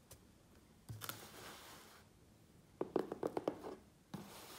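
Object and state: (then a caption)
Cardboard shipping box. A closed, hollow, medium USPS Priority Mail corrugated cardboard box sits on a wooden table while both hands on its sides tap and scratch it with fingertips and nails. A soft scrape is followed by a quick run of hollow, mid-toned taps with a faint resonance, then another brushing scrape at the end.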